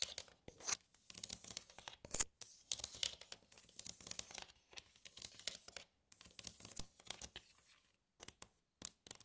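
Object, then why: Plastic compartment tray. Long nails tap and scratch across the compartments and dividers of an empty glossy red plastic divided tray. The sound comes as quick, bright clicks and scraping rasps in uneven bursts, with short near-silent gaps between them.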